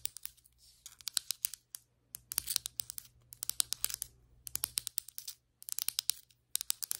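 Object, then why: Glazed ceramic floor tile. Very long white acrylic nails tap and scratch the surface of large, solid, glazed ceramic floor tiles with grout lines. Quick bursts of bright, sharp clicks mix with short scratching strokes, each tap dry and dying away almost instantly, separated by brief silent pauses.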